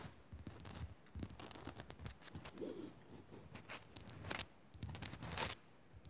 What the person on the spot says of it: Fast Scratching On A Salt Lamp